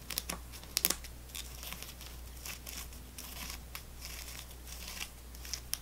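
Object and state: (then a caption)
Plastic gum pack with foil-wrapped sticks. A fingernail taps and scratches along the row of foil-wrapped sticks in a full plastic gum tray. Quiet, bright crinkling scratches run throughout, broken by a few sharp clicking taps near the start and end. A steady low hum sits underneath.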